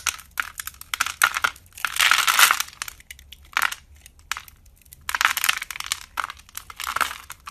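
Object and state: Bar soap being carved and crumbled.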